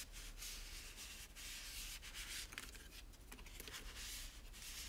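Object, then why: Plastic toy tower. A microfiber cloth is rubbed firmly over the white plastic base and teal spiral parts of a hollow plastic toy tower. A steady, bright swishing friction noise runs throughout over a faint low hum, with a few sharper scuffs standing out midway.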